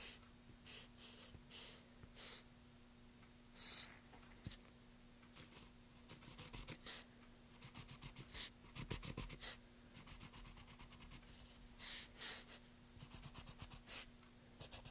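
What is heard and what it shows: A graphite pencil is drawn across the bare surface of a long, solid, light-colored wooden board resting on a dark table and held by one hand. Short, bright, scratchy strokes come in uneven bursts, some in quick runs, over a faint steady low hum.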